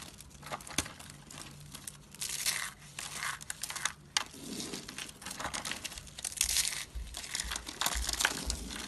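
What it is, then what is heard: Dry, brittle soap curls. Fingers pick up and squeeze brittle pink, blue and cream dry soap curls and shavings from a box, crumbling them into flakes. The result is a dense run of dry, bright crackling and crunching with short, sharp snaps and no ringing.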